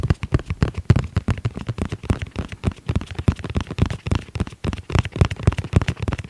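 Fingertips tap rapidly and irregularly on the flat face of a tablet-sized black hard-shell zippered case with a red edge, which is held and tilted. Each tap is a short, dull, low thump that dies almost instantly, with very little high content.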